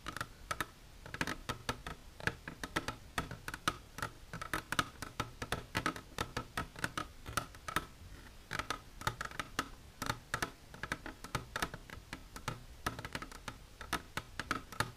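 Long silver nails tap rapidly along the sides of an empty, clear plastic container standing on end. Each tap gives a short, dry click with bright upper edges and a faint tonal ring near 1.3 kHz that dies away almost instantly. The taps come in quick, uneven bursts for the whole clip.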